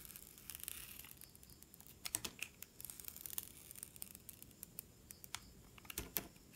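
A metal utility knife blade slices thin strips off a solid blue-and-red bar of soap held in the hand. The result is a quiet series of crisp, bright scraping clicks and short crackles, with a few sharper cuts standing out near the middle and the end.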